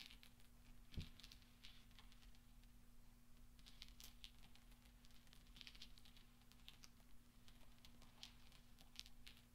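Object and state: Steel pachinko balls.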